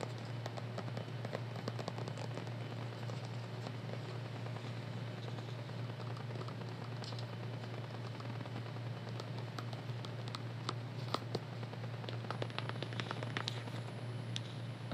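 A green plastic skincare tube with a white cap is held in both hands and tapped firmly with long nails, giving rapid, sharp, crackly clicks with bright, short ticks. A steady low hum runs underneath the whole time, and the tapping stays quiet and even.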